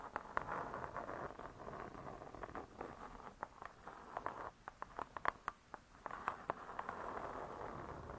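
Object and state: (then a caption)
Spiral-bound cookbook cover, tapped and scratched. Long nails scratch and tap the printed cardboard cover of a wire spiral-bound hardcover cookbook lying flat. A soft, steady scratching hiss centred in the mid range is broken by quick, dry taps. Near the middle the scratching briefly drops away, leaving isolated crisp taps before the rasping returns.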